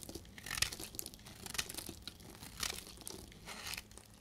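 A solid, dried blue bar of soap held in the hand is cut and shaved with a snap-off utility blade, breaking off brittle chunks. Quiet, dry, crunchy scraping and crackling come in short, irregular bursts, with bright, high crisp edges and little low end.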